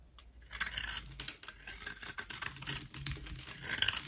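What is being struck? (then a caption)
Bar soap. A utility knife blade scrapes a solid white Dalan rectangular bar soap held in hand, shaving it into dry flakes. After a brief quiet start, a dense run of crisp, bright scratching and crackling follows, with many small, closely packed strokes that stop dead with almost no ring.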